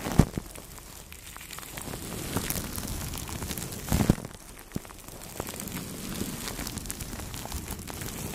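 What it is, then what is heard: Plastic cling film on a microphone, brushed. Two soft brushes rub over clear plastic cling film wrapped on the head of a Blue Yeti microphone, making a steady, soft crinkling rustle with a heavy low rumble. Brief louder crackles and pops stand out near the start and around the middle.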